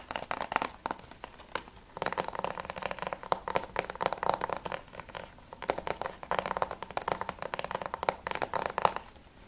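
Fingertips and nails tap fast on the front cover of a closed, hollow plastic PS3 game case (Spec Ops The Line) held upright. The result is rapid bursts of dry, clicky taps with a hollow mid-range tone around 875 Hz and bright edges. The bursts are separated by brief pauses, and each tap dies away almost instantly with no low-end thump.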